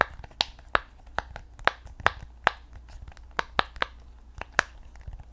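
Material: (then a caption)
Silicone. Long painted nails tap, scratch and press a flat, hand-sized rainbow octagonal silicone pop-it fidget toy with hollow bubbles, held in both hands. About twelve sharp, bright clicks and taps ring out and die almost instantly, centered around 1.3 kHz, with soft scratchy rustles between them over a faint low hum.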